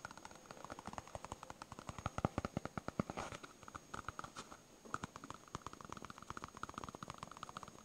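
A solid yellow smiley-face polyurethane foam stress ball is held in one hand and tapped and scratched with the fingernails of the other hand. The result is a quiet, rapid string of dozens of short, dry fingernail clicks. A brief scratchy rustle comes around the three-second mark, and there is a short pause before the tapping resumes.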